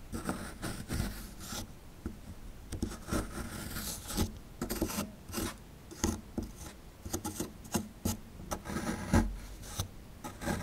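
A chisel pries and scrapes at a small, solid plaster fossil-dig excavation block, making dry rasping scrapes broken by short, sharp crunches as chunks of plaster break away. The sound is mostly low with a bright, gritty edge and little ring.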